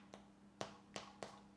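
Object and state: Baked-through spelt loaf (sounds hollow).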